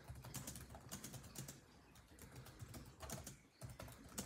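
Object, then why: Plastic laptop keyboard keys. Both hands' fingertips type rapidly on a built-in laptop keyboard with dark plastic chiclet keys set in a grey laptop body. Quick, light plastic taps with soft bright clicks come in uneven bursts over a low hum, and each tap dies away almost at once.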